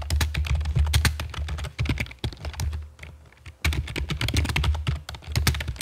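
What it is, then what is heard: Plastic computer keyboard. Long fake nails and fingertips type on a full-size black plastic computer keyboard, with a hollow body and keycaps, resting on a stone table. Rapid tapping produces bright clicks over a deep, hollow, chunky thud, with short ring. The typing eases into a brief lull around the middle, then resumes at full pace.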